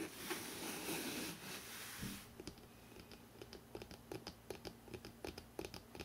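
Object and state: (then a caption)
Hardcover book. Fingertips and nails tap quickly on the spine of a hardcover book printed "NEW YORK", standing upright. A dense, scratchy rustle fills the first two seconds, then gives way to a fast, uneven run of short, dry, crisp taps with a bright click.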